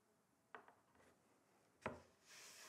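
Fingertips and short nails of both hands tap on a flat, solid, rectangular wooden chopping board. Three short, dry knocks are heard apart, a close pair and then a louder single knock, each dying away quickly. A soft, bright hiss rises at the end.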